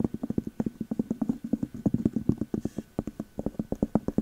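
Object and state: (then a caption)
Glass candle jar with cork lid. A clear glass candle jar with a cork lid and a Magic Berries label is tapped on the glass and the cork lid with long metal nail caps. About 35 quick, dry taps come in a steady, rapid patter, each with a low tone around 200 Hz and almost no ring.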